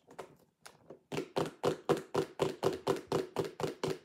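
Long acrylic nails tap rapidly on the lid and sides of a clear plastic lidded sensory bin box with contents inside. A few soft, scattered taps give way to a steady run of about a dozen louder, evenly spaced, hollow plastic clicks. Each click is short and dry, with a mid-pitched body and a bright edge.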